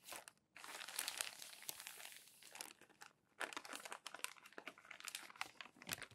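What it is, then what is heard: Crumpled glossy magazine paper. Flat palms rub and press a stack of crumpled glossy magazine pages smooth, and fingers lift and turn the pages. Dense, bright crinkling and crackling rustles come in bursts, broken by two brief quiet pauses, with almost no low end.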